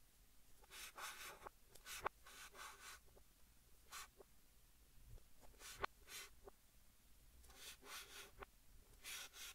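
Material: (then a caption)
Chalk. Fingertips hold a white chalk stick and write English text on a large, flat green chalkboard, scratching it across the surface. Bursts of dry, bright, scratchy strokes alternate with short quiet pauses, marked by a few sharp taps as the chalk meets the board. The writing sounds are soft and unevenly spaced.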